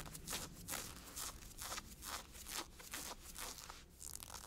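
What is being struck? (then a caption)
Ribbed nylon-spandex fabric. A hand with blue-painted nails scratches and rubs the hip of olive ribbed nylon-spandex stretch workout shorts being worn, the tight, thin synthetic fabric. Repeated dry, bright rasping strokes come at a quick, somewhat uneven pace of about two per second, each fading fast over a faint low background hum.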